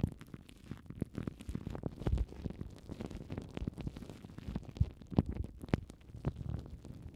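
Crumpled clear plastic cling film wrapped over the foam windshields of the mic heads is scratched and squeezed with long nails. Dense, low, muffled crinkling and rustling fill the clip with many short scratchy bursts. A few louder crackles stand out near the end.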